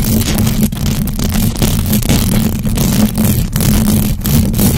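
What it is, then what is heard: Metal mesh microphone grille being scratched. Long acrylic nails on both hands scratch fast at the hollow metal mesh grille of a large black USB microphone. The result is a loud, continuous low rumbling scrape, heavy in the low end with a steady droning tone underneath and brief dips where the strokes change.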